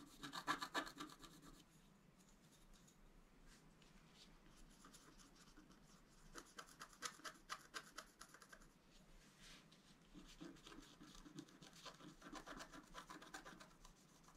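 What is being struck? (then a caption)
Black-coated scratch art paper scratched with a wooden stylus. A wooden stylus scratches a flat black-coated scratch art card lying on a table, working around the flowers near the antlers. Quiet, dry rasping and scratching strokes come in bursts at a steady, fairly quick pace, with bright, gritty texture and short stroke ends.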